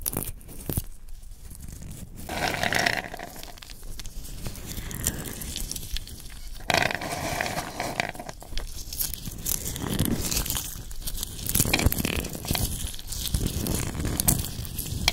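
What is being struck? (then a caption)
Handful of shelled raw peanuts rubbed between hands. A handful of small, solid, raw shelled peanuts with red skins is scooped from a wooden bowl and rubbed between the fingers and palms of both hands. The result is a steady, dry, gritty rustling and crunching with dense clicky scrapes, swelling in louder waves as the hands work the kernels. A low rumble sits underneath, with bright crackle on top.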